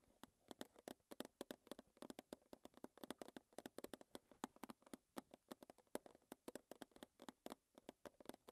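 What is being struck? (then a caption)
Small square metal tea tin. Long nails tap rapidly on the front face and lid of a small, closed, square metal Twinings tea tin standing on a table. About 55 quick, dry, clicky taps come in an uneven stream, each with a mid-pitched tinny tone and almost no ring.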